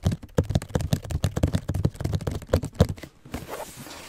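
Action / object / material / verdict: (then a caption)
tap / cardboard shoe box / cardboard / none. Fingertips tap and rub a hollow white cardboard Nike Air Max 270 shoe box while it is held and tilted. A quick run of dull, low, hollow taps fills the first three seconds, then gives way to a softer, breathy rubbing scratch.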